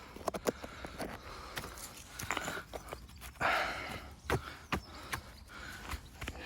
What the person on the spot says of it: Shake it, shake it. That's solid. That's a really big tailstone, that one